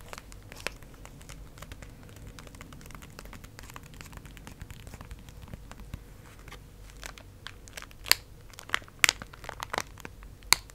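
Long acrylic nails tap and crinkle a small printed cardboard Pocky strawberry box, possibly holding foil-wrapped snacks, held in one hand. Quiet, steady papery crinkling fills most of the clip. Toward the end come a few sharp, bright, clicky taps that stop instantly.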